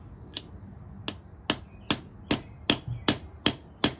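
A thin, black, hollow steel push rod with brass end fittings stands on a concrete floor, steadied by one hand, while a steel ball-peen hammer strikes the brass top fitting to press it in. Nine sharp, bright metallic knocks ring out at a fairly steady pace, each dying away almost instantly over a quiet background.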